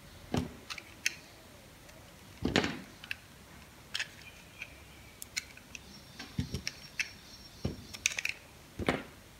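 A metal box-cutter blade carves a solid, dry pink bar of soap held in the hand, and the cut slices fall away. There is a run of irregular, crisp scraping cuts with bright, sharp clicks and short gritty rasps, separated by quiet gaps.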